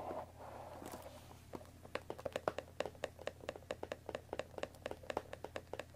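Long dark nails tap along the top edge of a closed Earl Grey tea box, made of thin printed cardboard, about 20 cm long and likely full of tea bags, resting on a wooden table. A soft, hushed scratch opens the clip. It is followed by 23 quiet, dry, hollow clicks in a steady, quickening patter, each crisp and bright at the attack and dying away almost at once.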